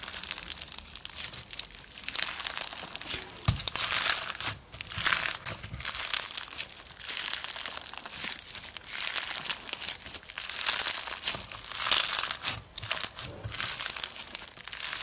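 Fingers and thumbs squeeze, stretch and knead a handheld lump of clear pink slime filled with small plastic fishbowl beads. Dense, bright, crunchy bead crackles run almost continuously, with a few brief quieter pauses between squeezes.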